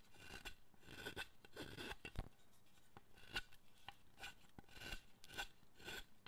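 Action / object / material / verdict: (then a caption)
scrape / wooden statue under a steel chisel / wood / none. A wooden-handled steel chisel pares and carves the surface of a solid, light-coloured wooden figure of the Buddhist guardian Zōchōten, held in one hand, with shavings on the bench. Short, dry rasping strokes with bright, crisp edges repeat throughout, broken by occasional sharp little clicks. The sound is quiet and close, with almost no ring after each cut.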